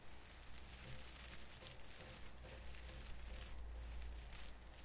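Fingertips pinch and rub the thin plastic needles at the branch tips of a small artificial fir Christmas tree sitting above cotton snow, crinkling them. A steady, soft, dense crackling and rustling runs throughout, with bright, papery texture over a low rumble.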